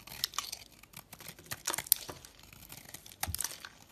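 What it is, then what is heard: Dry chalky soap bar being carved. A metal utility blade carves into a dry, chalky white round soap bar held in the fingers, scraping off flaky, crumbly layers. Irregular dry crackling scrapes and crunchy cuts come in short bursts with bright, high hiss and almost no low end, the loudest strokes near the start, the middle and the end.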